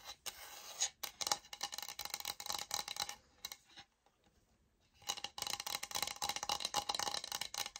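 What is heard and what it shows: Long nails tap and scratch across the grain surface of a light oak-grain laminate flooring sample, a solid board about 30 cm long held upright. The result is a dense run of bright, dry, fast scratching and tapping, with a near-silent pause in the middle before the scratching resumes.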